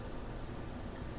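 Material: Nothing is struck.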